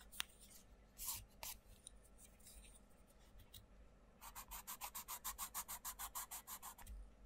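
A wooden coloured pencil rubs and scratches across the paper page of an open paperback colouring book resting on a wooden table. A few scattered, bright, scratchy strokes come first, then a quick, steady run of back-and-forth colouring strokes fills the second half.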